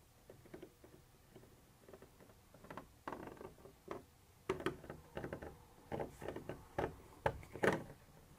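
A black pointed pointer tool scratches and taps a white textured plastic surface, apparently the wall of a hollow container, and a silver-bodied pointer also appears. The result is a quiet series of short, dry scratchy strokes and taps with a hollow midrange tone. Each sound dies away almost at once, with near-silent gaps between them.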